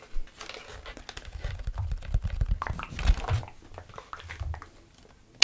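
A full-size black plastic computer keyboard is held up close to the mic while fingertips and nails tap on its keys and back casing. A steady run of soft, dry clicks and crinkly tapping sits over a heavy low, close-up thump, and one sharp, bright click at the very end.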